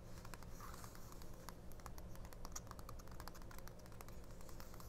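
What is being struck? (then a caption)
Small paper booklet. Long painted nails tap and scratch the printed pages of a small open 1999 paper mini-book, a thin matte-paged paperback lying flat on a fabric cloth. Quick, dry clicks and scratches patter steadily over a constant low hum, with faint bright rasps from the nails on the paper.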